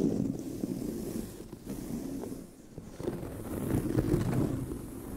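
Long nails scratch across the tan pebbled leather surface of a brown leather handbag, over a seam. A steady, low, dry rasping scrape swells and fades, dips quieter midway, then grows louder again toward the end.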